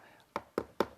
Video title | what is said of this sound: Tips on Inspecting Stucco and EIFS During a Home Inspection | It sounds kind of hollow. If it sounds hollow, that's a clue you may have an EIFS system.